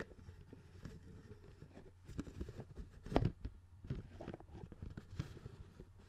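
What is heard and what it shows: A hollow, clear plastic CD spindle case with a black base and discs visible inside is held and turned in the hands while fingertips tap and rub its plastic lid. The result is quiet, dull, low-heavy taps and soft rubbing with very little ring, the loudest tap landing near the middle.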